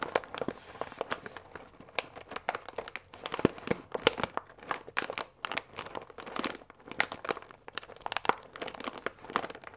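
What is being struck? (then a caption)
Paper pasta bag with plastic window. A full paper fusilli bag with a plastic window is held upright, crinkled at its folded top and squeezed with fingers. Dense, dry crinkling and crackling comes in quick uneven bursts, bright with very little low end. Each crackle stops almost instantly.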